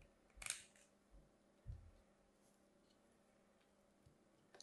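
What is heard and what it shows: A metal craft blade carves a hand-sized solid pink bar of soap with a white stripe, held with long manicured nails, scraping and slicing thin flakes off its edge. A bright, crisp scrape is followed by a duller low thump, then faint ticks over a quiet background.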